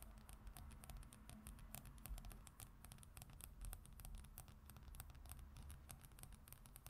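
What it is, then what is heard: Glossy paper magazine cover. Long acrylic nails from both hands scratch and tap a flat glossy paper magazine cover resting on a wooden surface. Many quick, dry clicks and scratchy strokes patter over a steady low rumble, with bright, crisp ticks throughout.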